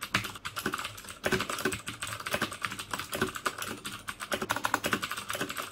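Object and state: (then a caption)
Plastic mechanical keyboard. Fingertips type steadily on the keycaps of a black plastic mechanical keyboard with clicky Cherry MX Blue switches. Each keystroke gives a sharp, bright click that dies away almost instantly. The strokes come in a quick, uneven rhythm with short pauses between bursts.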